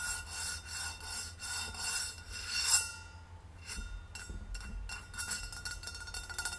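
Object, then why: Stainless steel insulated bottle. Long red nails rub and scratch the sides of a hollow, rose-gold stainless steel insulated bottle standing upright on a wooden table, making rhythmic, bright, hissing strokes with a faint metallic ring. The rubbing stops with a short ringing swell, and quicker, lighter taps and scratches follow, each leaving a brief high ring.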